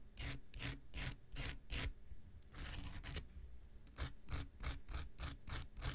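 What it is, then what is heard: Foam nail buffer block. The tip of an X-Acto knife scratches a small, solid, rectangular pink foam nail buffer block. Quick rhythmic rasping strokes carry a bright hiss over a low thudding body. A softer, continuous rub in the middle comes before a faster run of strokes at the end.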